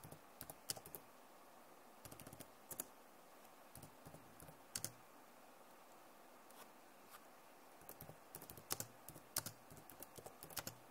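Both hands type fast with long nails on a backlit plastic laptop keyboard. Quiet, sharp clicks and clattering bursts come in uneven clusters, bright and dry with almost no ring, over a soft background hiss.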